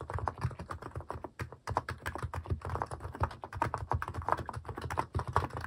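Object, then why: Plastic mechanical keyboard keys. Fingertips type steadily on a cream plastic mechanical keyboard fitted with plastic cat and paw keycaps. Rapid, short, dry clacks with a thocky low body and a mid-range click run continuously, with brief pauses between bursts.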